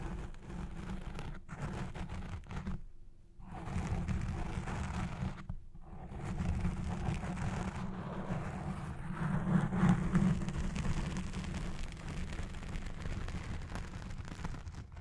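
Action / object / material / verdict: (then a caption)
scrape / foam microphone windscreen / foam / none. Both hands with long red-painted nails scratch the black foam windscreen on a Blue Yeti Pro microphone, producing a dense, continuous rough rumble that sits mostly in the low range with little brightness. The scratching briefly drops out for short gaps near 3 and 5.5 seconds, then swells a little louder through the rest of the clip.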